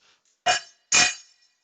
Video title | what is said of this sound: 360 Live: How to machine the second side (Live from Birmingham UK Tech Centre) | real loud ringing noise i know that is not down flat